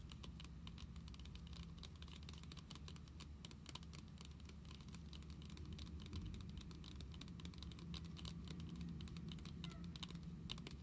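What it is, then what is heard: Glossy plastic card binder cover. Long pink nails quickly tap and scratch the glossy plastic-coated cover of a closed Pokémon card binder lying flat on a table. The result is a rapid, uneven patter of short, bright clicks with scratchy texture over a steady low hum, holding an even level throughout.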